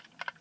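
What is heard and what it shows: A plastic Lego brick puzzle box, the maker's first all-Lego one, is shaken so that something loose rattles inside; nothing comes out until the box is solved. Two quick, muffled clicks are followed by a much louder, sharp knock at the end. The clicks and knock are short and dry, with no ring.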